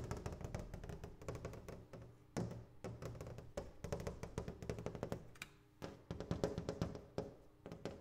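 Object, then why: Double-glazed glass window. A double pane glass window is tapped in quick, irregular bursts of dull, short knocks with a low, thudding body and little high ring. Each tap dies away almost at once.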